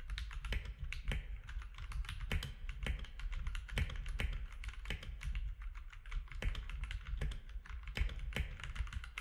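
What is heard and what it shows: Both hands type with their fingertips on a compact mechanical keyboard with plastic keycaps. A steady stream of short, sharp clicks sits over a constant low hum, with brighter clacks on some keys.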